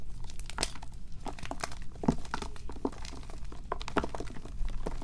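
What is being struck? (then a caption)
Magnesium carbonate gym chalk block. Small white and green-tinged gym chalk blocks of magnesium carbonate, solid and partly pasty, are squeezed, crushed and rubbed between bare fingers and palms over a black plastic bowl. The result is a steady run of soft, crunchy crumbling and crackling bursts over a low, muffled rustle, as pieces and powder fall into the bowl.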